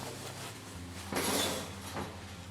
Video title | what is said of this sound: How to make SOURDOUGH BREAD- Fiona's Food For Life | Won't be as crispy because it was cooked in the tin, but you can still hear that It's hollow